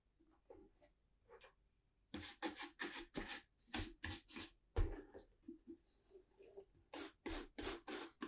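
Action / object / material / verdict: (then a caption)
scrape / leather ankle boot brushed with a horsehair shoe brush / leather / none. A hollow, empty tan brogued leather ankle boot (Tricker's Stow) is held in one hand and brushed across its leather upper with a handheld horsehair shoe brush. A few faint strokes give way to a run of brisk, bright swishing and rubbing bursts, each with a soft low body and almost no ring after it.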